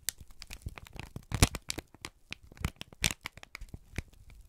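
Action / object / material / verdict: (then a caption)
scrape / kraft paper sheet / paper / none. A wrinkled brown kraft paper strip is squeezed and crinkled by both hands. A dense run of sharp crackles and rustles, some with deep thumps, with a louder crunching burst near the middle.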